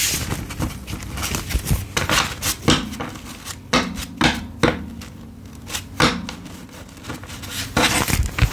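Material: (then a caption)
Paper. A thick, solid stack of US paper dollar bills is held in both hands over a dark table while fingertips and thumbs riffle and square its edges. The result is a steady run of dry, papery rustles and crinkles with bright crackle, broken by sharper flicks and soft, low taps as the edges are evened up.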